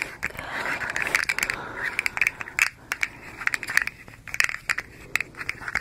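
A hand-sized, striped, hollow slug fidget toy made of hard plastic segments is bent into a curl and twisted by fingertips with long nails. Its segments make a quick, uneven series of dry, bright ratcheting clicks with a soft crackly scrape between them.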